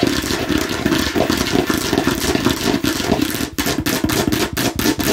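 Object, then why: Hard plastic watermelon-slice container. Long nails tap rapidly on a hollow, hard plastic watermelon-slice container held in one hand. The result is a dense, continuous stream of quick clicky clatter with a hollow, mid-pitched resonance and a bright edge. There are brief dips around the middle and near the end.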